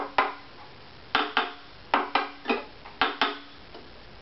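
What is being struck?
Wooden violin top.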